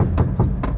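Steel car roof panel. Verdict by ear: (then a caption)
Poorly damped. Knuckles knock on the thin steel roof of a 2021 Honda Brio Satya E CVT, giving short, hollow, low-pitched metallic thuds with a brief ring of bare metal. The tinny sound shows the roof has little sound damping, and it makes it easy to confirm the body has never been patched with filler.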